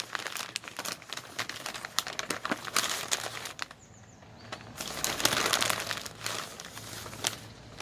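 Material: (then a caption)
Paper. Bare fingertips fold, bend and crumple the pages of a single thin, glossy, printed supermarket flyer with orange and red pages, hollow and folded, resting on a wooden table. Bright, papery crinkles and sharp crackles come in irregular bursts, ease into a brief quiet lull near the middle, then pick up again with dense rustling to the end.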